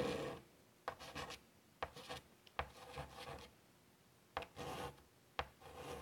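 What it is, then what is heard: Chalk on a chalkboard. Chalk is drawn across a large wooden-framed chalkboard lying flat while a small flower is sketched. Sharp taps start each scratchy, rasping stroke, with quiet pauses between them.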